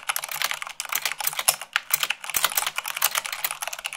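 Long pink nails and fingertips type fast, at about 98 words per minute, on a full-size mechanical keyboard with white plastic keycaps on a black frame. A rapid, dense stream of bright, crisp plastic key clacks runs throughout, with short dry decays and little low end.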